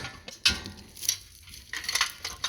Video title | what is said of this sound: Sunshine Yellow CVCC Civic Head Gasket | shake it like that sounds like a mariachi drum